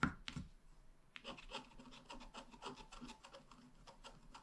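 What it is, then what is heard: Scratch-art card being scratched. A wooden stylus tip scratches a flat, black wax-coated scratch-art card, a solid thin card about A5 size lying on a table. Two sharp taps open the clip, followed by a steady run of short, dry, raspy strokes with a bright scratchy edge.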